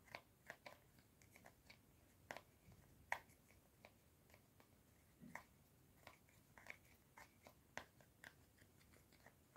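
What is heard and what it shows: Fingertips and short nails repeatedly press and click the rows of colored rubbery buttons on a small, flat, hollow white plastic infrared LED remote control held in both hands. About seventeen quiet, sharp clicks come at an uneven pace, each one brief and bright, with little low end and almost no ring.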